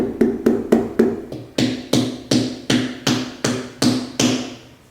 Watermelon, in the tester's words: you should almost feel the sound travel through the watermelon and out the opposite side it almost holds the sound after the knock